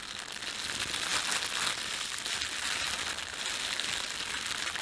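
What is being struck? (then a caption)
Thin plastic bread bag. A red-and-white printed thin plastic bakery bag is crumpled, squeezed and stretched with both hands. The result is a steady, bright crinkling and crackling that runs the whole clip with almost no low end, swelling slightly louder in the middle.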